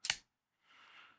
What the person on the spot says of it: I can hear a high high pitch tinny metallic lockup